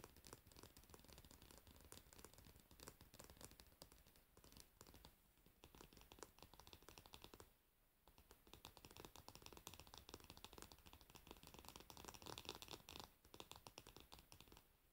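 Long nails tap rapidly on the glossy varnished wooden back of a hairbrush with metal pins below. A dense, continuous stream of short, bright clicks with some scratchy texture is heard, dipping briefly near the middle before resuming.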